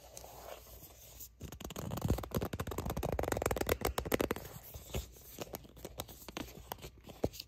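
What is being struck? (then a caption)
Soft plastic squeeze tube. Long acrylic nails scratch and grip a soft, palm-sized Aveeno Baby sunscreen squeeze tube made of hollow plastic that appears filled. Quiet, irregular scratching builds into a dense run of rapid crinkly grips and scrapes in the middle of the clip, then thins out into sparser taps and scratches toward the end. The sound is dry and close, with little ring and a mostly low-to-mid tone.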